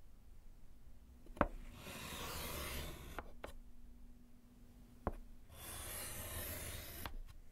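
A gloved hand scratches lines with yellow chalk across a small solid slate chalkboard in a wooden frame. Two sharp taps as the chalk meets the board are each followed by a long, dry, bright scraping stroke, with a few faint clicks between strokes.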